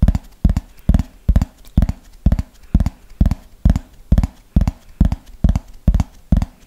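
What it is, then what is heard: Plastic frisbee tapped with fingernails. Fingernails tap the top surface of a thin, hollow, yellow plastic flying disc held upright in front of the mic, in a slow, steady rhythm of about two taps per second. Each tap is a short, dull, low thump with almost no ring, quickly fading to near silence before the next.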